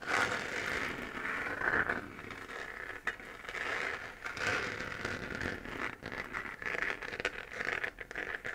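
Long nails scratch across the textured surface of a hollow, 3D-printed plastic moon-lamp sphere glowing orange. The result is a continuous dry, raspy scratching with a crackly texture, its energy centered in a bright midrange band around 1.5–2 kHz and almost no low end. The strokes swell and fade in uneven waves.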